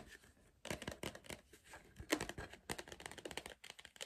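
Fingertips tap the side wall of a tall, hollow green cardboard Pringles tube held upright. The taps come in quick, uneven bursts, each short and dry with a hollow, papery knock and a bright, crisp edge that dies away almost at once.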